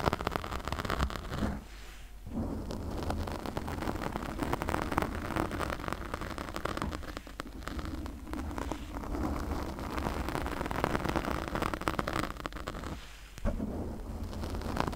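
Long nails scratch a pink foam windscreen on a condenser microphone with both hands, making dense, crackling rustles with a heavy low rumble. The scratching runs almost nonstop, dipping briefly near 2 and 13 seconds before picking up again.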